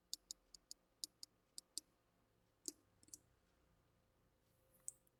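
Fingers tap a plastic bottle of hand-cleaning alcohol, producing eight quick, evenly spaced light clicks, followed by a few more scattered taps. Each tap is bright, dry and very short with almost no ring, over a quiet background.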